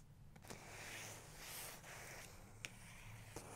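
A fingertip and long nail rub and trace over a printed photo on the paper page of an open large photography book. A soft, steady, broadband scraping hiss is heard, with three brief, sharp ticks standing out near 0.5, 2.6 and 3.4 seconds.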